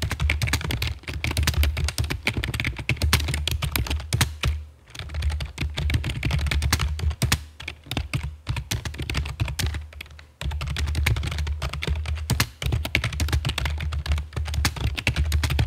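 Long fake nails and fingertips type on the keycaps of a full-size black plastic computer keyboard with a hollow body, resting on a stone table. Rapid, dense taps carry a deep, chunky thud with bright clicky tops, pausing briefly around 5 and 10 seconds before resuming.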